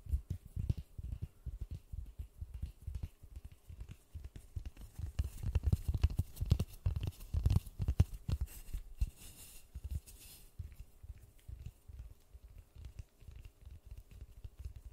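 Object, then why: Polystyrene foam ball. White-gloved fingertips tap and scratch a large white polystyrene foam ball held close to the mic. The result is a dense, irregular run of soft, dull low thumps with short scratchy rustles, each dying away almost instantly.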